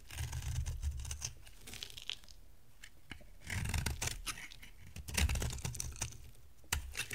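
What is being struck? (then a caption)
Bar of soap cut with a blade. A solid white bar of dry soap with a dark coating, held in the hand, is scraped and carved with a box-cutter blade. The sound is a series of dry, crunchy scraping and tearing strokes, with bright shaving crackles and a low rumble that swells in a few louder bursts.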